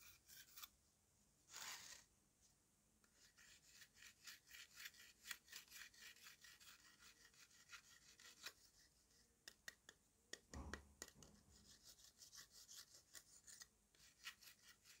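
A steel kitchen knife with a yellow handle scrapes the crumbly surface of a large, solid, dome-shaped lump of dried red mud cake dusted with pink and blue powder, resting on a tiled floor. Many short, bright, gritty rasping strokes are heard, with a longer hiss near the start and a brief low thump around the middle. The strokes are quiet and dry, with almost no ring after each one.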